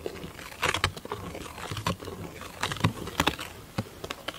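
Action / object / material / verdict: tap / large round thin plastic lid / plastic / none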